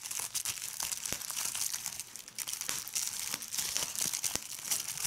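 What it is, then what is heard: Plastic bubble wrap. Fingers with red nails crumple and squeeze a large sheet of clear plastic bubble wrap, making a steady, bright crinkling with sharp pops as bubbles burst. The sound is almost entirely high-pitched, with quick, dry snaps that die away instantly.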